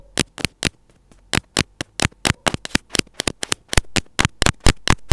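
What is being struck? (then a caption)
Plastic earphone inline mic housing. The closed tip of metal scissors scratches and taps along a small white plastic earphone inline mic housing held between the fingers. It gives 23 sharp, dry, irregular clicks with bright crackly edges and almost no ring, over a faint low hum.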